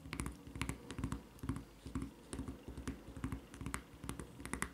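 Long red nails scratch and tap the printed surface of a white rubber flip-flop's solid rubber sole near its red strap. Soft, dull thuds mix with bright scratchy clicks in a quick, uneven rhythm, each sound dying away almost at once.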